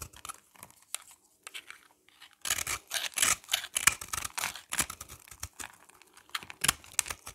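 A utility knife blade scrapes and cuts a hand-held, solid oval bar of dry soap with a red coating over a yellow interior, producing crumbly shavings. Soft, sparse scratches give way after about two seconds to denser, louder bursts of bright, dry crunching and tearing that repeat irregularly to the end.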